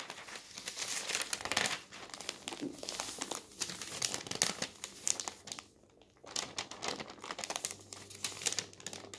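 Fingertips lift, flip and rub the thin newsprint sheets of an open paper newspaper lying on a table. Dense, bright crinkling and rustling runs throughout, with a short near-silent pause around the six-second mark. A faint low hum enters toward the end.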